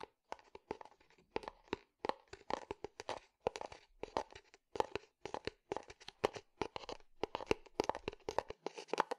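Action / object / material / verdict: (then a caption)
tap / small unglazed clay flower pot / terracotta / none. A small, hollow, unglazed clay terracotta flower pot is held on its side and tapped and scratched on the outside with fingertips and nails. A rapid, irregular series of short, dry taps mixes with crackly scratching in a midrange, clay-like tone. Each hit dies away almost at once, with no ringing.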